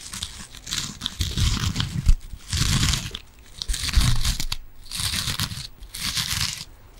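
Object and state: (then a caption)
Foam kitchen sponge with scouring pad. Long nails scratch along the green abrasive scouring side of a yellow foam kitchen sponge. Repeated bursts of rough, crunchy scratching carry a bright hiss over a low rumble, with short quiet gaps between strokes.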